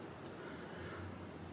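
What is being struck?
Nothing is struck.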